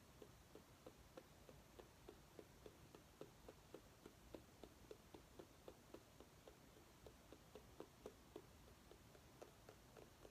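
A small orange mini pumpkin held in the hands is scratched and tapped with long nails. A steady, quiet run of quick, light taps, each dying away almost at once, sits over a soft scratchy hiss.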